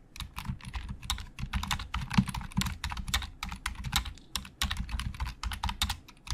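Both hands type quickly with their fingertips on a black plastic Logitech keyboard with hollow plastic keys. A dense, uneven stream of short, dry clicks and clacks has bright tops over a hollow, low thump. Each keystroke dies away almost instantly.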